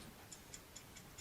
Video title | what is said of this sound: Glock Safety Checks Glock Build Safety | The rattle means that it's clean and it's clear and it's free from obstructions.